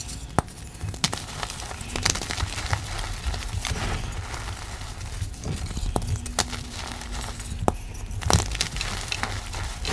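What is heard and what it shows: A reformed slab of white gym chalk (magnesium carbonate) is squeezed and crushed by both hands with long black nails. The solid, crumbly pieces are rubbed into a powder pile between large broken slab chunks. Close, gritty crunching and crumbling fill the clip, punctuated by sharp, bright cracks and snaps over a soft, low rustle.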